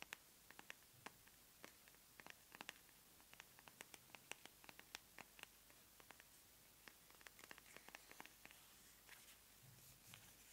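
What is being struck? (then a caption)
Plastic squeeze tube. Long manicured nails tap and scratch along the surface of a small white plastic squeeze tube of face cream held in both hands. Quiet, dry, bright clicks and scratches come in irregular bursts with almost no ring. They sit over a soft hiss, and a faint low rumble rises briefly near the end.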